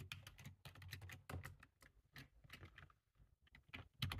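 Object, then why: Plastic computer keyboard. Fast two-handed fingertip typing on a black low-profile plastic computer keyboard with a hollow body, resting on a table. A rapid, uneven stream of short, dry key taps, each with a low hollow thump and a bright click that cuts off almost at once, with brief pauses between bursts.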